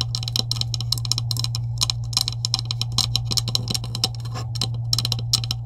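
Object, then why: Plastic PVC pipe with couplings. Long acrylic nails tap rapidly across the top of a green hollow plastic PVC pipe with couplings resting on a table. The taps are quick, dry, bright clicks with almost no ring, over a steady low hum.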